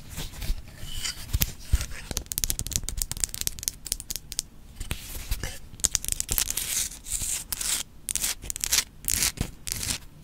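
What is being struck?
Rock-salt lamp.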